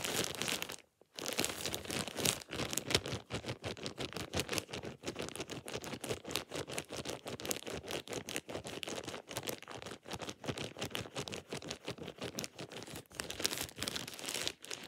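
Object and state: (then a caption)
Plastic shower cap. Fingertips stretch, rub and crumple a thin, empty plastic shower cap, making dense, bright crinkling and rustling with a brief silence near the start. The crackles come in quick, overlapping bursts with little low end, and each one dies away almost at once.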